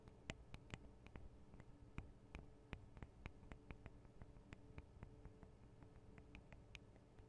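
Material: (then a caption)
Metal. Long acrylic nails from both hands tap on the small hollow metal microphone capsules of a Tascam DR-40 recorder. The taps come as rapid, irregular, sharp bright clicks that die away almost at once, over a quiet, steady low hum.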